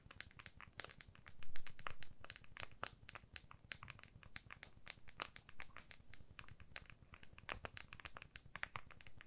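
Long fingernails on both hands tap and scratch the back of an iPhone in a clear plastic case held flat. The result is a quiet, rapid, irregular stream of sharp, bright plastic clicks with soft scratchy crinkling and a low muffled rumble underneath.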